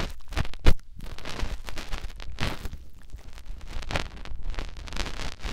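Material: Silicone.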